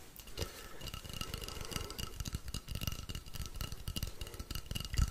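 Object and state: Wooden rainstick.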